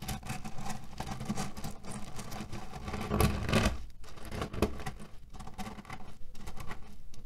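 Fingernails rapidly scratch and press a cotton pillow filled with cherry stones, producing a dense, steady crackling and rattling of shifting pits. The sound is mostly low and muffled, with a louder burst of crunching pressure partway through before it settles back into continuous scratching.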